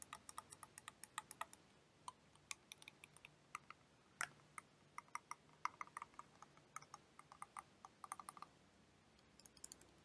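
A clear plastic liquid motion timer toy filled with blue liquid is tapped with long painted nails while being turned in the hands. Quick, bright, dry clicks come in irregular bursts over a quiet background, each tap dying away almost at once, with a few stronger knocks standing out.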